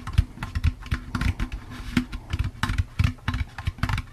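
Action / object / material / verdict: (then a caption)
tap / plastic pumpkin candy bucket / plastic / none. A hollow, empty orange plastic jack-o'-lantern candy bucket is tapped with fingertips and nails while being rotated in the hands. The result is a quick, uneven series of dull, hollow low thuds with light clicky ticks on top, each dying away almost instantly.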